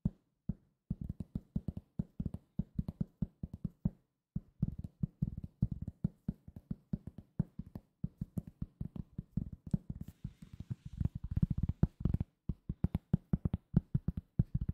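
Fingertips tap rapidly on a solid, round cork coaster, producing dull, low, muffled thuds that stop almost instantly. The tapping runs in quick bursts, with a short pause near the four-second mark and another just after twelve seconds.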